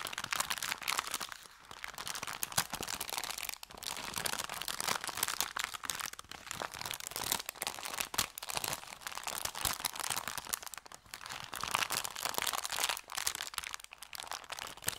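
An empty, folded, thin kraft paper bakery bag is squeezed and crumpled by hands. The result is a steady, bright crinkling and crackling with dense sharp crunches and a few brief pauses, mostly in the high range with almost no low end.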